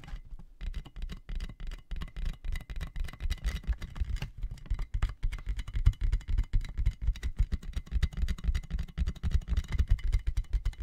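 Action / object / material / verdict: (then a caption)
tap / inflated plastic air-column packaging / plastic / none. A clear inflated plastic air-column cushion bag with hollow tubes is held in both hands over the mic while fingertips and nails tap it. The result is a steady stream of quick, irregular, muffled low thumps with almost no ring, plus faint crinkly scratching on top.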